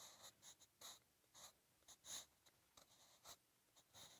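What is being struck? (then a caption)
Graphite pencil on paper notebook page. A wooden 8B graphite pencil held in the fingertips writes Korean script across a lined page of a spiral-bound B5 sketch notebook resting flat. About ten soft, bright scratching strokes come in irregular bursts, each hissing briefly and fading fast, with quiet gaps between them.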